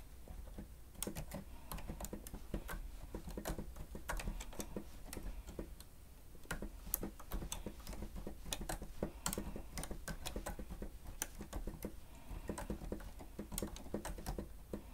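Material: Plastic.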